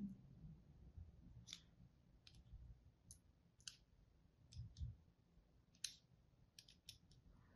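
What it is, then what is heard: Bar soap being cut. A thin wire or thread and a small tool are pulled across a palm-sized, pink-and-white striped bar of dry solid soap held in one hand, cutting into its surface. A series of short, crisp, bright clicks and scrapes rises over a faint low rumble, each fading almost at once.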